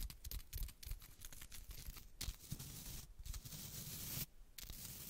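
Long black acrylic nails tap and scratch the solid wood back of a small wooden-backed baby hairbrush with soft bristles. The result is a quiet, dense run of crackly, papery scratching over soft low thumps, with bright hissy bursts and brief dips into near-silence.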